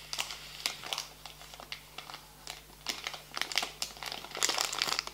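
A full, small green printed plastic foil bag of rosemary crackers is held and folded in both hands, then crinkled and squeezed with the fingertips. It gives bursts of bright, sharp crackling and crinkling that come in uneven clusters, with quieter rustling between them over a faint low steady hum.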